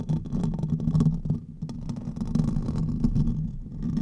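Fingertips and nails of both hands scratch the hollow metal mesh grille of a silver condenser microphone, producing a dense, continuous rumbling scrape heavy in low frequencies around 150 Hz. Close, muffled crackles and rubbing pile up with little high-end, easing briefly near the middle before building again.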